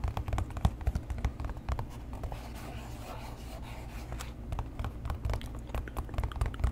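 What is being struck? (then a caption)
Leather shoe upper. Fingernails tap and scratch the leather upper of an empty tan leather boat shoe held beside the mic. Quick, dull taps with a low thud mix with soft scratching, easing into a quieter stretch of rubbing in the middle before the tapping picks up again.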